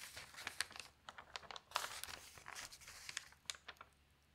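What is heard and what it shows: Fingertips with long nails lift and turn the thin newsprint pages of an open paper newspaper. Soft, quiet crinkling and rustling comes through as a run of short, bright crackles and sharper snaps, with almost no low end and no lingering ring.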